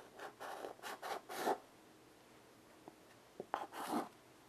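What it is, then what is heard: Chalk drawing on a chalkboard. A child draws with white chalk in steady strokes on a small wood-framed chalkboard resting on carpet. Dry, scratchy chalk strokes come in a quick run of bursts, then a quiet pause with a few faint taps, then another cluster of strokes. The scraping is soft and bright with no low rumble.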